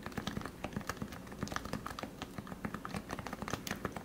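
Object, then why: Plastic Topre-switch keyboard. Fingertips type steadily and quickly on a lubed plastic Topre keyboard, a Leopold FC660C with 45 g switches, heard close up. About two dozen keystrokes land as soft, muted thocks with a low, rounded body and very little bright click. Each one stops almost instantly.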